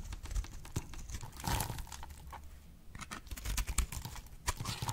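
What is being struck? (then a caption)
Bar of soap cut with a blade. A box-cutter blade slices a solid, oval, pale pink dry bar of soap held in the hand, snapping off brittle chips. Quick, dry cracks and crisp crackles fill the clip, with bright snapping edges over a low, soft thudding.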